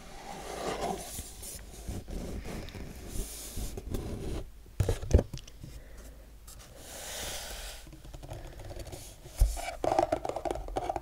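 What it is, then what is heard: Cardboard box. Fingertips and short nails rub, scrape and tap across the surfaces of a rigid, closed and hollow printed cardboard Magic the Gathering: The Lost Caverns of Ixalan bundle box, about hand-width long, held in both hands and turned from lid to front to back. The soft, dull scratching is mostly low and muffled, with a few sharper, louder taps near the middle and toward the end.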